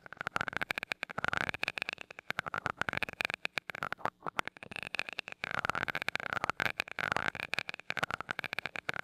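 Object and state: Metal microphone grille tapped.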